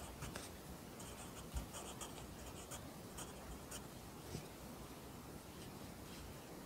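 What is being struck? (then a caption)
Pencil on a paper notebook. A pencil writes Korean handwriting on an open lined paper notebook, the graphite scratching steadily across the paper. Quiet, close strokes carry bright, high scratchy bursts over a faint low rumble, with a couple of slightly louder taps as the pencil meets the page.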